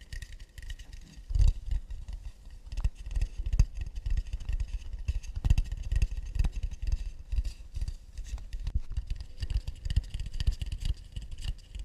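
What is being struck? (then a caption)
Acacia wood plate. An acacia wood plate is tapped and scratched in a fast, delicate rhythm. Dense, dull, low thuds with very short decay mix with a faint, dry scratching texture, and a few sharper taps stand out.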